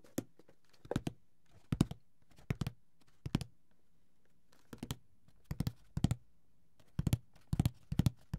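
Fingertips tap and scratch the lid of a closed, hollow, grey paper-covered cardboard Monopoly board game box. Soft, dull, low thunks come in quick clusters of two or three, each dying away almost instantly, with faint scratchy rustles between them and quiet pauses in between.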